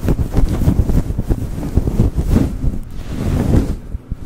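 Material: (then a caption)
Synthetic fur. Fingertips and short nails of both hands rub and scratch a soft, fibrous, fluffy grey synthetic-fur windscreen on a rhinestone-decorated USB microphone. The result is a dense, muffled, rumbling scratching that is heavy in the low end, with rapid bursts that carry on steadily before dropping off near the end.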